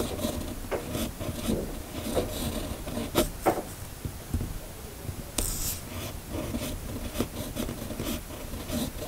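A red-bodied fountain pen with a steel nib, held in the fingers, scratches across a flat, thin sheet of white paper on a hard surface while writing cursive words. A steady, dry, raspy scratching runs throughout, broken by short ticking strokes and a brief brighter hiss partway through.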